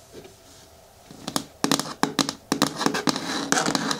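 Long nails tap and patter on the sides and front of a hollow, hard green plastic bin with a lid. After a near-silent first second, a quick, irregular run of sharp, clicky taps follows. Each tap carries a bright edge and a short, hollow plastic knock that dies away almost at once.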